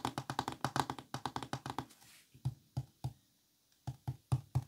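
Fingertips tap and knock on the squares of an open, flat, thin wooden folding chess board in green and cream. A quick run of light, dry taps with a mid-range click gives way, after a brief soft scuff, to slower, deeper knocks with a low thump, about 22 short hits in all that die away almost instantly.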